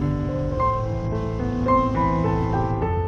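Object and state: Nothing is struck.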